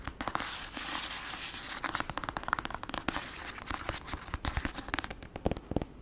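Long acrylic nails tap fast on the glossy cover of a black paperback novel, a solid paper block. The result is a dense run of sharp, dry clicks with almost no ring. Faint crinkly texture sits under the clicks, and the tone is bright with a little low thump.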